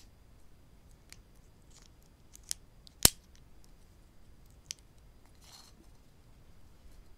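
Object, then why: Wooden clothespins with metal springs. Two small solid wooden clothespins with metal springs, one held in each hand, are tapped and clicked together with the fingertips and clipped open and shut. Three sharp, bright clicks stand out, the middle one loudest, among fainter ticks and a brief soft rustle against a very quiet background. Each click is dry and dies away almost instantly.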